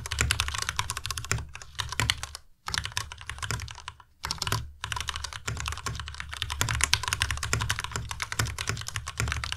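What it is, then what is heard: Plastic mechanical keyboard. A white tenkeyless Ducky Miya Pro mechanical keyboard with plastic keycaps is typed on quickly by both hands using the fingertips. It makes a dense stream of short, crisp clacks with a low thock and a bright click on top. The typing pauses briefly twice before carrying on.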